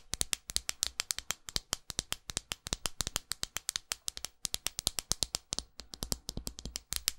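Long acrylic nails tap and scratch a textured glass perfume bottle in a rapid, uneven run of about 55 bright clicks. Each tap is sharp and high-pitched and dies away almost instantly, with faint scratchy texture between the hits.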